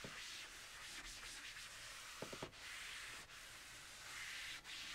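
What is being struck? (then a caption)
Wood-framed chalkboard and foam eraser. A blue foam eraser held in the hand is rubbed across the flat surface of a large black chalkboard in a wooden frame, wiping off chalk writing. The result is a steady, airy, bright scrubbing hiss. It is broken by a few brief dips and faint soft taps as the strokes change.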